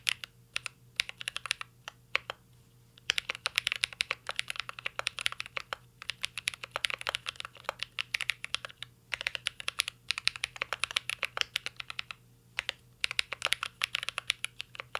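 A mint-green Cyberboard R3 mechanical keyboard with plastic keycaps and an aluminum case is typed on continuously with fingertips. Its keys give bright, crisp clacks with short pauses between bursts. A faint steady low hum runs underneath.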